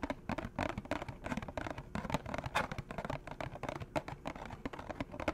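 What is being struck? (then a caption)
Small cardboard food box. A small, empty, hollow orange and green cardboard McDonald's food box, held in one hand, is tapped and scratched with fingernails. The result is a rapid, irregular run of dry, short taps mixed with soft scratching, with a hollow body and little ring after each hit.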